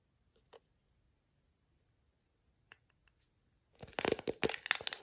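A plastic detangling hairbrush with dense black plastic bristles is scratched by long acrylic nails that snap across the bristles. A few sparse, sharp clicks in near silence give way to a dense, bright burst of rapid crackling snaps and scratches at the end.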